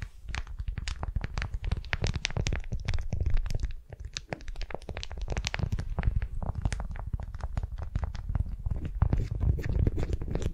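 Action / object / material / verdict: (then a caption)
scrape / wax-coated cotton wrap / waxed cotton / none. A candy-shaped beeswax-coated cotton wrap around a wooden sphere is held in both hands, gripped and scratched with long nails. The result is a dense run of quick, dry crinkling scratches and crackles with a heavy low rumble beneath bright, sharp edges. A brief lull comes around the four-second mark before the steady scratching resumes.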